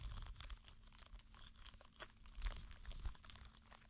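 A green spiky rubber sensory ball is squeezed and rolled between flat palms, making quiet, dense crinkly crunching and rubbing sounds with brief crackly spikes. The sound is mostly low and rumbly, with a faint steady low hum underneath.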